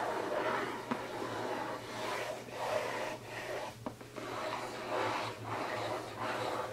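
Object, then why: Printed cardboard box. Fingertips and nails scratch and rub across the lid of a closed, hollow, rectangular printed cardboard gift box lying flat on a table. Soft, dry scraping comes in repeated swells with brief pauses between strokes, over a faint steady low hum. Two sharp ticks stand out partway through.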